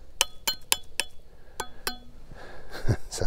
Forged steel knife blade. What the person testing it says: ça sonne comme une cloche